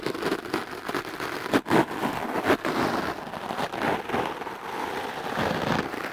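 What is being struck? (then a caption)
Foam microphone windscreen brushed with a bristle clothes brush. The stiff black bristles of a wooden clothes brush are brushed and scratched across a soft, porous dark-blue foam microphone windscreen held in one hand. The result is a steady, close, scratchy rustle centered in the midrange, with a few louder, sharper strokes standing out near the start and middle.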